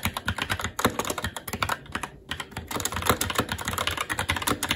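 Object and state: Mechanical keyboard being typed on.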